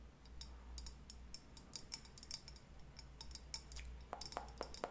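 Long nails tap a pink leopard-print ceramic cup-shaped candle holder with a lit candle glowing inside, held in both hands. A quick, irregular series of light, bright clicks rises over a steady low hum. The taps die away almost instantly, and the last few knocks carry a brief hollow ring.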